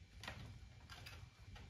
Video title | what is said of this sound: PNW Rainier Gen 3 Dropper Post Rattle Noise Fix | much, much less. Hardly noticeable. I mean, there's still a little play, but there's always going to be play in a dropper post.